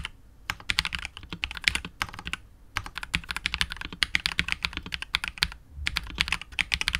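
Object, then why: Mechanical keyboard, plastic case and PBT plastic keycaps. A KBD67 Lite R2 65% mechanical keyboard with KTT Wine Red switches, PBT keycaps and a hollow clear translucent polycarbonate case is typed on continuously with the fingertips of both hands. The rapid keystrokes sound as bright, clacky taps that die away almost instantly, arriving in bursts separated by brief pauses.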